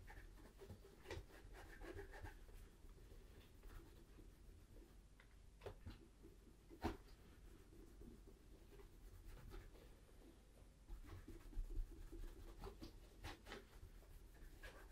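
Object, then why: Leather boot toe cap. A tan Tricker's Stow leather brogue boot in Acorn, standing hollow and empty on a table, is rubbed in small circles on the toe cap with a cloth over the fingertips. The sound is a quiet, steady, low cloth-on-leather rubbing with soft scratchy swishes and a few sharper ticks that stand out briefly.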